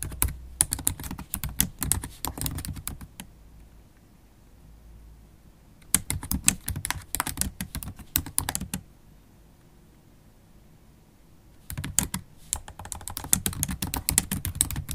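Long acrylic stiletto nails type on a MacBook Pro keyboard with black plastic keys set in an aluminium body, making rapid, bright, sharp clicks with a low thud beneath. The typing comes in three bursts, each separated by a few seconds of near silence.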